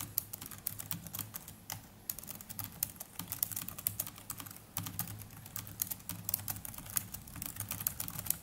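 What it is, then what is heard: Plastic laptop keyboard being typed on. Fingertips of both hands type continuously on the black plastic chiclet keys of a small black netbook keyboard. The result is a rapid, uneven stream of short, bright clicks and taps that die away almost instantly, over a steady low hum. There are brief lulls around the two- and five-second marks.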